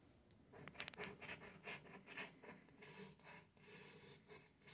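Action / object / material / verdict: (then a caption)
scrape / cardstock scratch-off ticket / cardstock / none. A $50 "$10 Million" scratch-off lottery ticket of thin, flat cardstock with a latex scratch coating lies on a light countertop while a small object held in the fingers scrapes the coating off the number area. A series of short, dry, rasping rubbing strokes is heard, bright and papery, with brief pauses between bursts and no ring after each stroke.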